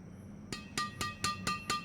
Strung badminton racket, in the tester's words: suaranya nyaring sekali, padahal hanya tarikan 25. Berarti ini bahannya solid banget